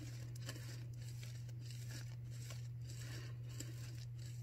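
Long nails on both hands scratch and rub a white disposable non-woven paper surgical face mask worn on the face, close up. Soft, scratchy, crinkling strokes flicker across the highs over a steady low hum.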